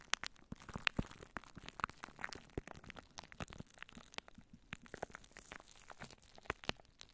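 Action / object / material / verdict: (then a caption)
scrape / plastic cling wrap over a microphone / plastic film / none. A microphone covered in clear plastic cling wrap is scratched and squeezed by fingertips and long nails. The result is dense, quick crinkling and crackling with sharp clicks and bright, high hiss. There are also soft, muffled low thumps.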